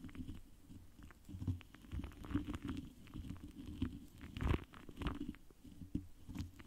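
The foam tip of a pink lip gloss wand brushes and dabs across a large, rounded, hollow metal mesh microphone grille. Soft, muffled, low thumps and rumbling dabs overlap with faint scratchy brushing, and a louder dab stands out near the middle.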